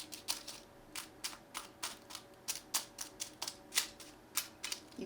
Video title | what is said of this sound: Monday Munchies Episode 5: Spanakopita | You can hear how crispy they are.